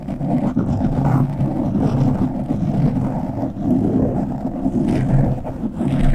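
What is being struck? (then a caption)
Foam microphone windscreen. Fingertips and short nails scratch the top and sides of a black foam windscreen on a microphone. The result is a dense, continuous, rumbling scratch, heavy in the low end around 130 Hz, with muffled swells and little brightness.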